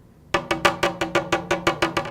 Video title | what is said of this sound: Hartzell Composite Propeller Repair Video - Kevlar Tip Repair | here you can hear what the blade would sound like